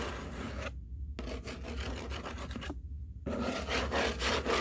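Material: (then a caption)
Cardboard. Long painted nails and fingertips scratch and rub across the flat top of a large, empty-looking corrugated cardboard box as both hands rest on it. The result is a steady, papery rasping over a low constant hum. It pauses briefly twice, when the brighter scratching drops out, then returns slightly louder toward the end.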